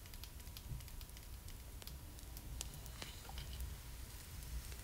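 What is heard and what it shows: A small hollow hard plastic (vinyl) Pullip doll head and face is tapped and scratched with long matte black stiletto nails. Quiet, sharp clicks and faint scratchy ticks sit over a low rumbling background.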